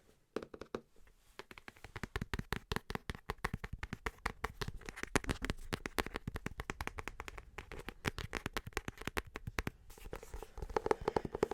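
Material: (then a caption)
Cardboard. Fingernails tap rapidly and continuously on the hard cover of a pocket-sized hardback book, *How to Watch Football*. The short, dry clicks have a deeper, wooden-like tone than taps on softback books, and they grow louder toward the end.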